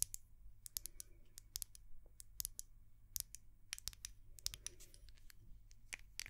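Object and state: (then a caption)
Glass jar candle. Long nails tap quickly and irregularly on a small white glass candle jar and its dark lid. Each tap is a short, bright click that dies away almost at once, over a steady low hum.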